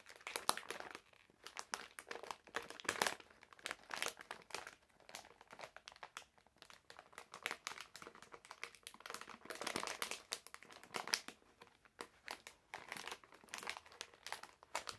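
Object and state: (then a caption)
Plastic candy bag. A medium printed plastic-film bag full of wrapped candies is held in both hands while the fingertips crinkle and squeeze the film. The result is dense, quiet crinkling in uneven bursts, bright and crackly with almost no low end.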